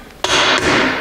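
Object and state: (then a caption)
Fully seated differential carrier bearing. A steel differential carrier bearing is tapped into place with a hammer and a wood block, giving a single sharp hit at about 0.24 s. It rings bright and metallic for nearly a second, showing the bearing has hit home and is fully seated.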